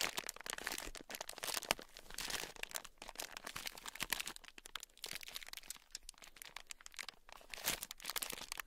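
A small, brick-sized sealed clear plastic bag packed full and tight with tiny gold beads is squeezed with fingertips, then scratched and tapped with a thin black stick. It makes a dense, bright crinkling and crunching, with many quick clicks and rattles that stop dead with no ring.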